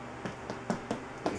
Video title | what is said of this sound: How to make a crunchy brown raisin bread | you can hear the hollow sound. It's definitely done.